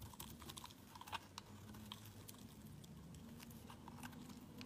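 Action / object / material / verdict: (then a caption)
scrape / bar of soap shaved with a blade / soap / none. A solid cream-colored oval bar of soap is held in the hand and shaved with a utility knife blade, sending flakes coming off. Quiet, crisp scraping crackles and bright ticks repeat steadily over a faint low hum.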